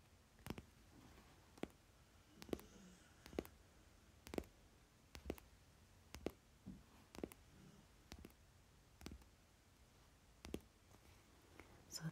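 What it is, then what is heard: Deck of paper playing cards. Fingernails tap and scratch the top card and edges of a thick stack of paper Monopoly Deal playing cards held together with a rubber band. Short, dry clicks with a bright edge come at irregular intervals over a quiet background, with faint scratchy rustles between them.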